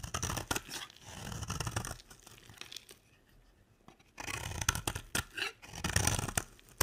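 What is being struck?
Bar of soap scraped with a blade.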